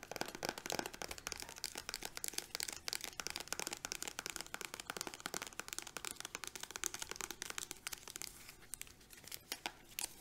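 Long nails rapidly tap and scratch a small green soft-plastic hand cream tube held in both hands. The result is a dense, continuous run of crisp, bright clicks and scratchy rustles with almost no low end, easing slightly quieter toward the end.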